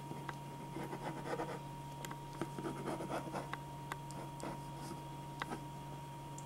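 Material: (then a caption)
Paper. A black metal-tipped pen scratches quick sketch lines across a single thin white sheet of drawing paper lying flat on a dark board, while the other hand holds the sheet in place. Soft, dry scratching strokes come in short bursts with bright, brief ticks, over a steady low hum and a faint constant tone.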